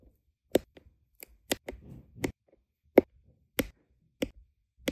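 A plastic drill pen with a metal tip taps small, solid, round resin diamond painting drills down onto a flat adhesive canvas. Nine short, dry clicks land at uneven intervals, with a brief soft rustle between the early taps. Each tap cuts off almost at once, leaving no ring.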